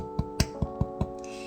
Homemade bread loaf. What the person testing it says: It's supposed to sound like lightly hollow.